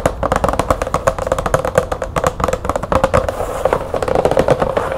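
Long nails of both hands tap fast on a medium green cardboard light bulb box with a window, resting on a table. A rapid, steady run of dry, hollow clicks with a light papery tone around 500 Hz, each dying away almost instantly.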